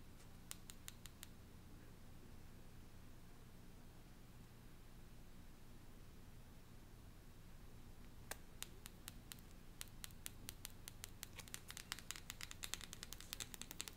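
Long painted nails tap and scratch the face of a small deck of printed cardstock cards with a bird design, held close. A few quick, sharp clicks come at the start, then a quiet stretch with only a low background hum, followed by a steadily quickening run of crisp taps to the end.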